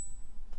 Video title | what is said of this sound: Silver Stacking Questions: How Do I Know My Silver is Real? | which is not silver and you'll hear it's just like a thud